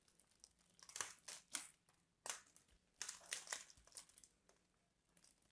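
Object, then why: Bar of soap scraped with a craft knife. A craft knife scores and scrapes the surface of a solid purple embossed bar soap, and flakes crumble off. It makes a series of soft, bright, crinkly scraping and crunching bursts with quiet pauses between them, with almost no low end.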